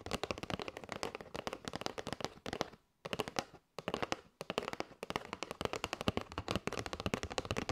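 Long nails tap rapidly on the top edge and face of a flat kraft cardboard box with a clear window, full of paper straws. The result is a dense run of short, dry, papery clicks with almost no ring, broken by brief pauses near the middle.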